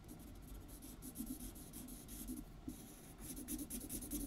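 A felt-tip alcohol marker colors in large outlined letters in pink on a white paper sheet lying flat on a wooden table, rubbing back and forth while the other hand holds the sheet still. A quiet, steady, scratchy rubbing comes in short back-and-forth strokes with a soft, bright hiss on top.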